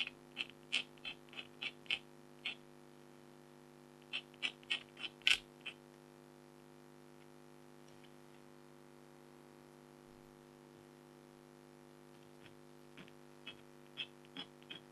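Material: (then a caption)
Coated card. A red-handled stylus scratches fine lines near a tiger's face on a flat, thin, black-coated foil scratch art card, while the other hand holds the sheet. About eighteen short, bright, dry scratches come in quick bursts early on, go quiet for several seconds, then return softly near the end. A faint steady low hum runs underneath throughout.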